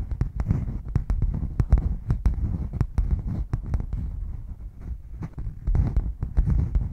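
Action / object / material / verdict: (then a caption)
tap / padded faux leather hard case / faux leather / none. Long nails scratch and tap the padded top and side edge of a red padded faux leather zip hard case, held flat, hollow and closed. A steady stream of quick, dull, low thumps mixes with soft scratching, each tap dying away almost at once and leaving a muffled, bass-heavy patter.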